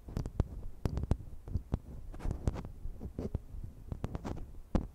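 Long manicured nails and fingertips tap and scratch the capsule heads and hollow bodies of two identical slim silver metal pencil condenser microphones on stands, with bare grilles and no foam covers. Roughly nineteen sharp, quick taps land as deep, boomy thumps, with soft scratching rustle in between.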